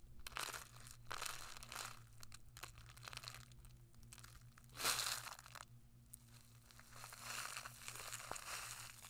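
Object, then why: Kraft paper food pouch. Fingertips with long nails crinkle and rub a small flat kraft paper food pouch with a printed label, held in both hands. Papery bursts of crinkling and rubbing with a bright, hissy top come in waves, one louder crunch standing out near the middle, over a steady low hum.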